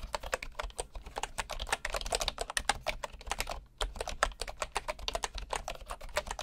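A bamboo wood keyboard with wooden keys and a hollow body is typed on with the fingertips, giving a fast, steady run of short, dry clicks. The taps are crisp, with a bright top and a light hollow knock around 800 Hz, and there is a brief pause near the middle.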